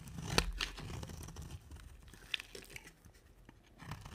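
A small red-handled blade scrapes and carves dry flakes off a round, solid white soap bar set in a dark rim and held in one hand. Crisp, dry scraping and tearing crackles come in quick, uneven strokes, with a few sharp, bright cuts standing out over a soft, low rumble.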